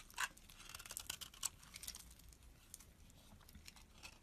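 A metal box-cutter blade scrapes shavings off the embossed face of a solid, hand-held white Dove bar soap. Quiet, dry, crisp scraping strokes with bright, crackly texture repeat unevenly, with a few sharper louder scrapes near the start and little low-end body.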